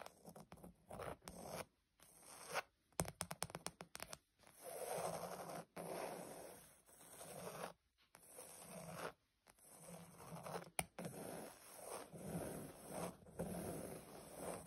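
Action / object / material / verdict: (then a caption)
scrape / padded leather upholstery panel / leather / none. Long pointed nails scratch and tap a pebble-grain cream leather (or faux leather) surface, likely a padded sofa or bag panel. Quick, dry clicking taps come in bursts early on, followed by longer, soft, raspy scratching strokes with a bright, papery edge. Brief sharp taps occasionally cut through the strokes, all at a quiet level.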